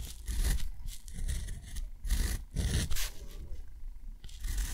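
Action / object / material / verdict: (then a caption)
scrape / metal pen nib on cotton paper / cotton paper / none. A metal dip pen nib scratches across thick, rough textured cotton paper lying flat, tracing the outline of a shape and then drawing a small square. The strokes come as dry, rasping scrapes in uneven bursts over a low, rumbling undertone.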